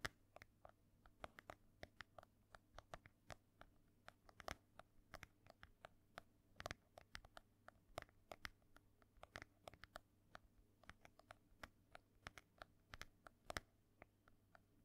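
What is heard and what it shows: Fast fingernail tapping and scratching on the cover of an ornate, solid embossed hardcover book held close to the microphone. Dense, sharp, dry clicks with bright edges and a little rasp between them run over a faint low hum.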